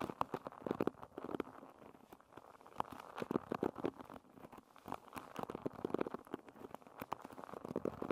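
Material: Wood.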